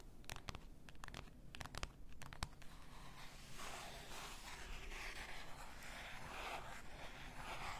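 Long nails tap and scratch the sides and shoulder of a clear glass bottle full of pink bath salt. Sharp, bright clicks come first, then give way to a steady, hissing scratch that continues to the end.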